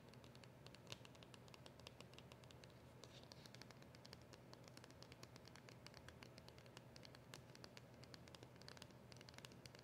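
Long acrylic nails tap and scratch the front of a small, flat, dark cardboard polishing cloth packet with a round label, held up close. A steady, quiet stream of rapid, crisp clicks and scratchy rustling runs throughout, with bright ticks over a soft low hum.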